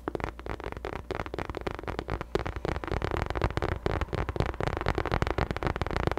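Long nails tap and scratch on a hollow pink faux leather drawstring bucket bag. The result is a dense, continuous stream of quick, dry, dull taps mixed with a scratchy rasp, with short-lived clicks and a heavy low-end thump.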